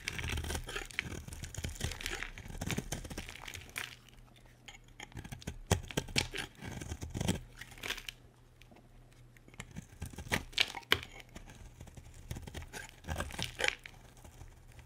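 A solid, dry, light pink bar of soap held in the hand is carved with a metal utility blade, producing crisp, bright scraping and crunchy cutting strokes. The strokes come in dense bursts separated by quieter pauses, over a faint steady low hum.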